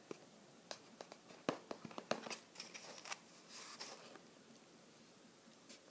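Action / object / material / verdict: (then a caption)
scrape / small closed cardboard box / cardboard / none. A small, flat, light-blue printed cardboard Skoshbox subscription box, closed and likely holding snacks, is held in one hand while the fingertips and nails of the other scratch and tap its printed surface. Quiet, dry, bright taps sound at an irregular pace, mixed with short scratchy rubs. The sounds thin out to a faint hiss by the end.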